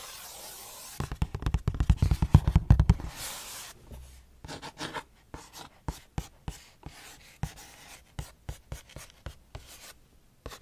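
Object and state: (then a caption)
Cardboard snack box. A small, hollow printed cardboard Nature's Bakery oatmeal crumble box is held in both hands in front of the mic and tapped and scratched with long painted nails. After a second of faint hiss, a dense burst of fast, loud taps and scratching gives way to sparser, crisp, dry taps with short scratchy rubs between them.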